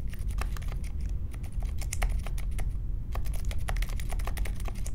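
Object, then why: Mechanical keyboard with plastic keycaps and metal case. Fingertips type quickly on the plastic keycaps of a compact Polaris mechanical keyboard with Silent Alpaca switches and a metal case, resting on a marble desk. The result is a steady run of soft, muted key clicks with short, bright taps over a constant low rumble.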